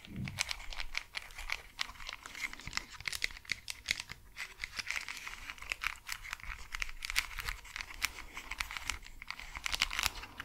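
Long acrylic nails scratch and tap the hollow plastic shell of pink and white cat-ear over-ear gaming headphones with glowing LED ears, held close to the mics, working over the earcups and headband. A dense stream of quick, dry clicks and scratchy rasps rings bright and crisp with almost no low end, each tap dying away instantly.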